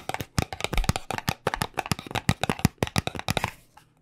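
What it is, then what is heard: Cardboard cosmetic box. Fingernails quickly tap on the faces of a small white paperboard cube cosmetic box held in both hands. About 20 dry, hollow taps, each with a low thud and a bright click, come in an uneven rapid run. They die away almost instantly and stop just before the end.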